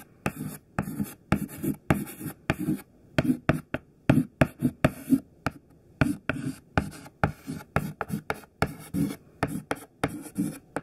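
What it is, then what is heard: Chalk writing on a chalkboard. A thin, small, solid stick of white classroom chalk, held between the fingers, writes words on a black chalkboard. The strokes come as a steady series of short, scratchy bursts with brief gaps between them. Each has a dry, low body and a thin, bright rasp, and stops with almost no ring.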